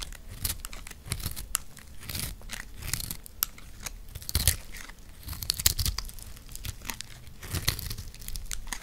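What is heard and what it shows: A green, dry, solid recycled soap block, about palm-sized and held in one hand, is scraped and sliced with a metal blade, and flaky crumbs break off. The clip is a steady run of short, dry scraping and crunching strokes with bright, crisp edges over a low rumble. Each stroke stops dead with no ring.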